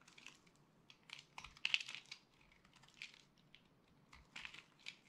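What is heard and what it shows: A solid yellow and purple dry soap bar, held in the hand, is scraped and sliced with a utility blade. The result is a string of crisp, bright, crunchy scraping bursts with almost no low end, as soap chips fall onto the pile.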